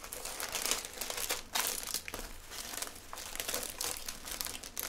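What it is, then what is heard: Cellophane gift bag crinkling. A small clear plastic cellophane gift bag with a small item inside is held at the neck with both hands while fingertips crinkle and twist the thin plastic and a gold ribbon is tied around it. Bright, dense crinkling rustles on and off in quick bursts, with short swells of sharper crackle throughout.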